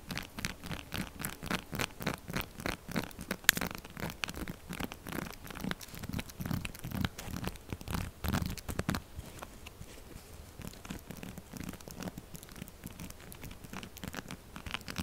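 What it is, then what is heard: Textured soap bar scraped with fingernails. Long nails rapidly and aggressively scratch and scrape the textured surface of a solid pink soap bar, sending flakes falling. The result is a fast run of dry, crackly scraping strokes with a bright, gritty texture and a low thump under each stroke. The strokes grow quieter and finer after about nine seconds.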